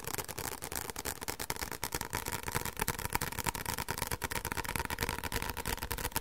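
A white paperback book with a thin card cover and a solid stack of pages is held upright in both hands and tapped quickly on the back cover with fingertips and short nails. The result is a fast, uneven run of short, dry taps and clicks that die away almost at once, with a papery tone around 950 Hz and bright nail ticks on top.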